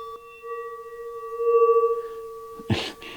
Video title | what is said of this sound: DuB-EnG: Meat Slicer Service Maintenance Sharpening a Rotary Blade - Cutting Frozen Meat - ASMR | saw blade listen to that it rings like a bell